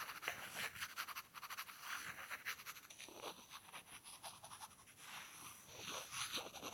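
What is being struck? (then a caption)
Two small wooden blocks. Two small, solid, light-wood rectangular blocks are held in the fingertips and scraped and tapped against each other. The result is a quiet, bright, scratchy rasp broken by short, dry taps that come at an uneven pace, with little low end and almost no ring after each contact.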